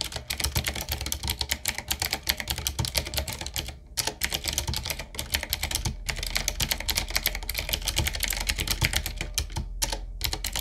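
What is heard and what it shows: A full-size 7Keys retro typewriter-style mechanical keyboard with a solid body, round plastic keycaps on a dark metal plate and a wooden-looking frame is typed on fast with the fingertips of both hands. Dense, bright, short clacks run in quick bursts with brief pauses near 4, 6 and 10 seconds, over a steady low hum.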